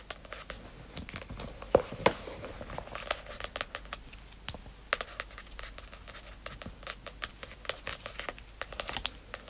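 Long acrylic nails and fingertips tap on the glossy, paper-covered cardboard front cover of a medium-sized pink hardcover book, "Princess Lessons," lying flat on satin fabric. The result is a quiet, irregular stream of quick, sharp clicky taps with short dry decays, mixed with faint scratchy crinkling. A couple of louder taps stand out near two seconds in.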